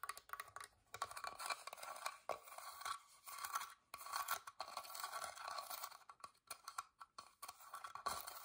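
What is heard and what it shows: Long dark-painted nails scratch and tap along the carved floral openwork lid and edges of a small, hollow, whitewashed wooden box held in the hand. The result is quiet, dry, bright scraping in uneven bursts, with short clicky taps centred around 1.1 kHz that die away almost instantly and no low end at all.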